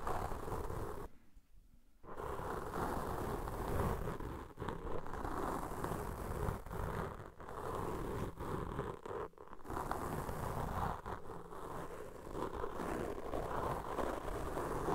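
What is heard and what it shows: Two black foam microphone windscreens are rubbed and scratched with a cotton swab held in each hand. The result is a dense, continuous, muffled scratching and rustling with a heavy low rumble, broken by a brief near-silent gap early on and a few short dips later.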